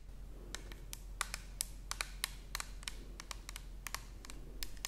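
Long nails tap the side of an orange plastic toner bottle held horizontally close to the camera. Quick, irregular, dry clicks ring bright and die away almost instantly, over a quiet, steady low hum.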